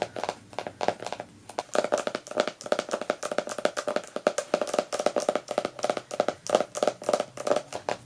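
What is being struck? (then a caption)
Hardcover book with glossy paper dust jacket. Long nails tap and scratch the front of a closed, solid hardcover poetry book, "The Trouble with Poetry," in a glossy paper dust jacket resting on a couch; then the book is flipped over and the back cover is tapped. The result is a rapid run of dry, crisp clicks with a hollow tone around 600 Hz, each dying away almost instantly, with papery scratching between the taps.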